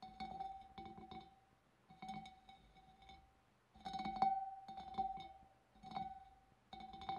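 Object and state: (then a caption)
Glass fish bowl. Long dark nails tap and flick the wavy rim of a large, clear, empty glass fish bowl. Short bursts of quick clinking taps come in groups separated by brief pauses, each sounding a bright ringing tone near 780 Hz with high shimmering overtones that fade quickly.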